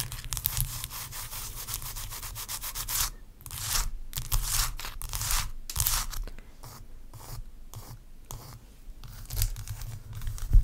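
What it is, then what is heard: Block of ice. Long acrylic nails scratch and rub across a large solid block of ice resting on a towel. The result is dense, bright rasping strokes in quick sweeps, broken by a few short pauses, over a faint low hum.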